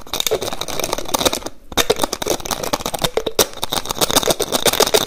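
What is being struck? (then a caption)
Small plastic bottle with plastic cap. Fingertips and nails rapidly tap and twist the white plastic cap on a small, hollow, mostly empty clear plastic bottle. The result is a fast, dense stream of sharp, bright clicks and scratchy rattles with a hollow tone around 430 Hz, pausing briefly near the middle before picking back up.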